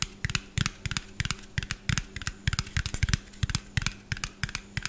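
A hollow, small white plastic bottle with a yellow cap is held in both hands above the mic and tapped quickly with fingernails, giving about eighteen sharp, clicky taps in irregular bursts. Each tap is brief, with a bright top and a dull low thump, over a faint steady low hum.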